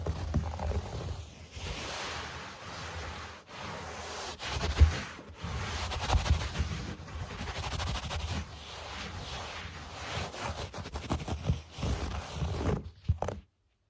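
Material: Carpet fibre.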